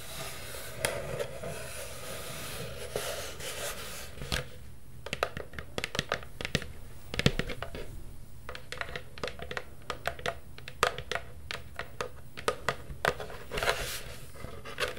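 Long purple nails scratch and tap along the rim and side of a hollow black plastic Halloween cauldron. Quick, dry clicks and short scrapes come in an uneven run over a low steady background hum. Each contact dies away almost at once.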